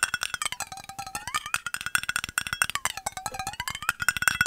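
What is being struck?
Metal bottle.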